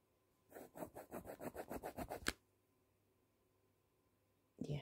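A decorated pencil tip, held at the fingertips, traces and rubs over the printed lips of a full-page woman's face illustration on a thin glossy magazine page lying open and flat. It makes a quick series of short, soft scratchy strokes ending in a sharper scrape, then a pause and one more brief rub.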